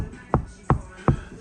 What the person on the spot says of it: that now just sounds solid.